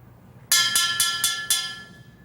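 A comb taps the side of an aluminum pipe five times, each strike giving a bright metallic ring that sustains and overlaps the next. This side tap produces the lower pitch, a transverse wave.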